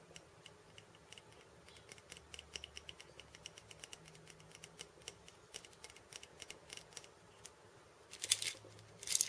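Painted fingernails tap and scratch the steel bead chains on a wooden cabasa. Quiet, irregular, bright metallic clicks and ticks are heard, with almost no low end and no ring. Near the end come two louder, longer bursts of rattling scrapes.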